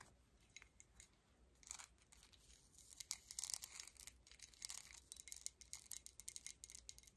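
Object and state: Metal medallion pendant tapped and scratched with nails.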